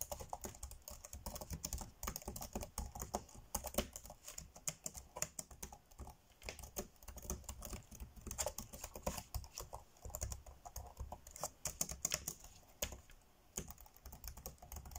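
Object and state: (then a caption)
Plastic laptop keyboard. Fingertips tap quickly on the dark grey plastic chiclet keys of a laptop keyboard, typing fast. A dense, uneven stream of short, dry, bright clicks sits over a steady low rumble, each tap dying away almost instantly.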